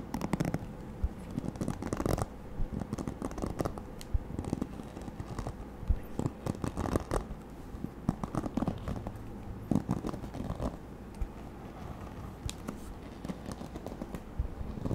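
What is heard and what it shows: Fingertips and nails strum and scratch across the many plastic-tipped bristles of a white plastic paddle hairbrush with a black cushion, held facing the mic. The result is a steady, close run of dry scratching and rapid ticking patter, with clustered bursts of brief clicks that fade almost instantly over a low, muffled bed.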